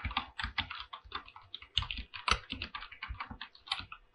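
A full-size mechanical keyboard with PBT plastic keycaps on a silver aluminum body is typed on with fingertips in quick, steady bursts. Each keystroke gives a crisp, bright clack with a low thock beneath it and almost no ring. The strokes come in an uneven, continuous rhythm.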